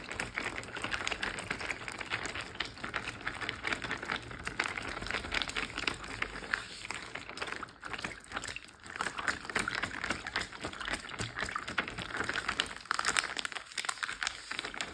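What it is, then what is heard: Water-filled plastic bag. A large clear plastic Ziploc bag full of water, lying flat on a teal surface, is tapped and rubbed with fingertips and short painted nails. The result is a steady, dense stream of quick, dry crinkling taps and soft scratches, bright and concentrated in the upper mids with little low end, and short, barely ringing transients throughout.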